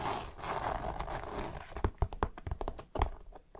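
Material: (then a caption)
Polyester fabric. Long nails scratch and fingertips rub the stiff coated fabric near a seam and webbing tab on a dark green polyester fabric backpack. A steady, hissy scraping rub fills the first half, then gives way to a run of short, sharp crinkly scratches and taps, each with a low thump, dying away quickly in a quiet, close-up space.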